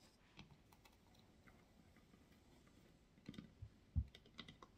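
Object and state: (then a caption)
Wooden box. Long nails tap and scratch the textured, carved, white-washed patterned wooden lid of a medium hollow wooden box with a small metal knob. Quiet, soft clicky taps and faint scratches sound over a low hollow thud, growing busier in the second half with one louder knock near the four-second mark. Each tap dies away almost instantly.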